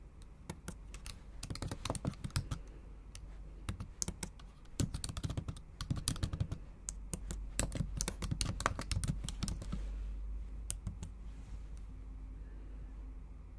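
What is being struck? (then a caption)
Plastic laptop keyboard keys. Long acrylic nails type on the black plastic keys of a MacBook Pro set in an aluminum body, giving rapid, sharp clicking taps with bright high edges over a steady low hum. The typing comes in bursts with brief pauses, then thins out and fades to sparse taps after about ten seconds.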